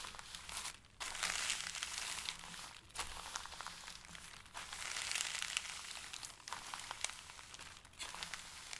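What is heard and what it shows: Fingertips and palms press and rub across the top sheet of a flat stack of thin, pale, tissue-like paper sheets on a table, crinkling it. A dense, bright, crackling rustle fills the clip in irregular bursts, separated by brief near-silent pauses of about a second.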